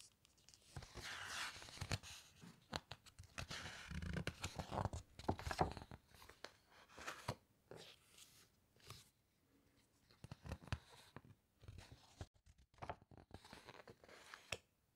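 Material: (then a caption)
Glossy paper. Long white nails and fingertips press and squeeze the glossy pages of a large hardcover book about underwater wrecks lying open on a table, then turn them. Soft crinkling and papery rustles come in irregular bursts, with sharper crisp snaps and quick clicks as the pages are pinched and flipped. Brief quiet gaps fall between the handling sounds.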